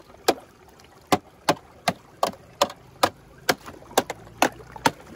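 The metal head of a wooden-handled hammer strikes a clear, thin sheet of solid, brittle ice over a rocky streambed eleven times. Each strike gives a sharp, bright crack with almost no ring, leaving star cracks and holes in the ice.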